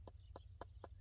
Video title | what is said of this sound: Can a Helmet Save You? | Sounds like plastic. It might break.